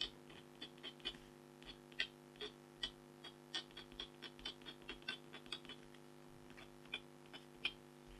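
A red-handled stylus scratches lines into the lower left corner of a flat, thin, black-coated foil scratch art card with a tiger design. The result is a quiet, irregular series of short, bright scratchy ticks centered around 3.2 kHz, each dying away almost instantly, over a faint steady low hum.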